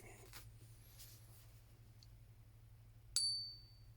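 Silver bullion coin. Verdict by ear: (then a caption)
Real. A 2022 Niue Roaring Lion Head 1 oz silver bullion coin, 38.6 mm across, is ring-tested against a smartphone app set to generic 999 silver. It gives a sharp, bright ping with a pure high tone that fades within about a third of a second over a low steady hum. The tone matches, and with the weight and dimension checks this confirms the coin as authentic silver.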